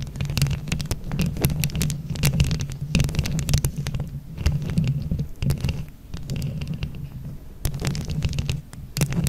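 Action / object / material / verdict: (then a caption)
scrape / microphone grille with plastic rhinestones / plastic / none. Both hands scratch with long nails across a microphone grille covered in plastic flower rhinestones. The result is a continuous, deep, muffled rumbling scrape, with rapid sharp clicks and ticks as the nails catch on the rhinestones.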